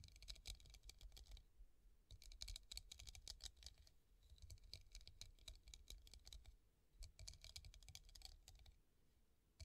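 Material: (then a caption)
Glass. Long nails tap rapidly over the bumpy surface of a clear, hollow, empty hobnail glass vase standing on a table. They make bright, dry clicking in bursts separated by brief pauses, over a faint low hum. Each tick stops almost at once, with no ringing.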